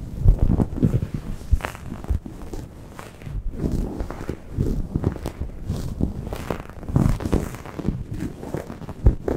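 A grey microfiber towel draped over a Blue Yeti microphone is gripped and scratched with long painted nails. The result is a dense, muffled, low rumbling of rustles and scraping bursts, heavy in the bass with almost no bright content, as the scratching speeds up and slows down.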